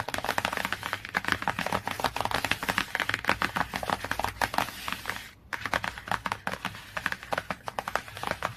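Fingertips and nails tap and scratch quickly across the glossy laminated cardboard cover of a large hardcover children's encyclopedia lying flat. A rapid stream of short, dry, crisp clicks is mixed with brief scratchy rasps, bright in tone with little low end. There is a short pause partway through before the tapping resumes.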